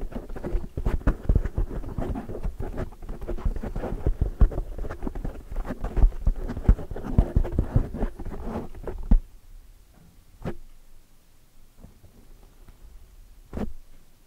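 Long, dark, metallic-painted nails scratch rapidly over the top of a large black foam windscreen on a microphone, making a dense, low, muffled patter of crackling scrapes for about nine seconds. The scratching then stops, leaving near silence broken by two brief isolated scrapes.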